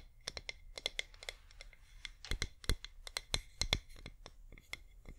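A flameless wax pillar candle is tilted in the hands and rapidly tapped with long nails, giving quick, irregular, dry clicks with bright tips and a soft low thump under some strikes. The taps come in uneven bursts, some louder than others, with almost no ring after each one.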